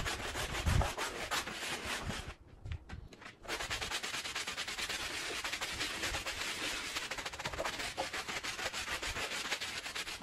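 A handheld bristle brush scrubs a small, fringed woven fabric rug that is wet and soapy, in steady back-and-forth strokes. Each stroke gives a bright, rasping, broadband swish with a slight wet hiss. The scrubbing drops off briefly a little past two seconds, then resumes at a steady level to the end.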